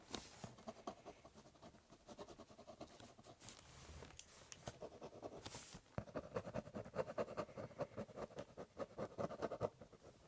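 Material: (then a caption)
Cardboard. A ballpoint pen tip scratches and doodles across the top of a large corrugated cardboard box. Quiet, dry scratching strokes come in quick, uneven bursts with occasional bright swishes. About halfway through, the scribbling turns louder and denser, with a rough midrange rasp.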